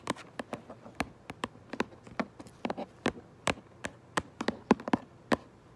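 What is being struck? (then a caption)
Cardboard box. Long nails tap and scratch quickly on the front of a cardboard Minecraft Lego box. About twenty sharp, dry clicks and taps come in an irregular, fast rhythm, each dying out almost at once over a faint hiss.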